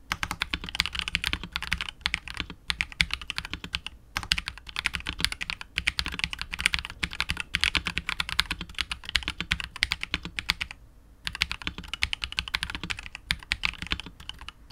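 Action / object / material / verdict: tap / mechanical keyboard with PBT plastic keycaps and polycarbonate case / plastic / none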